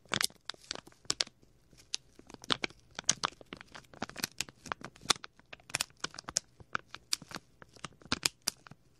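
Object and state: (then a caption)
Plastic bag crinkled. A small, clear plastic packet with a printed label is crinkled and squeezed by fingertips right at the left microphone ear. It makes an irregular run of sharp, bright crackles and crinkles, each dying almost instantly, with almost no low end and quiet gaps between bursts.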